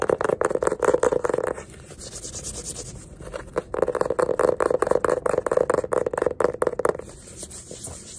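Fingertips and nails rapidly tap and scratch the cover of a small yellow hardcover paper sketchbook with a label band, held upright in both hands. Quick, dry clicks with a mid-toned hollow thud come in fast bursts, broken by softer scratching stretches around 1.7–3.5 seconds and near the end.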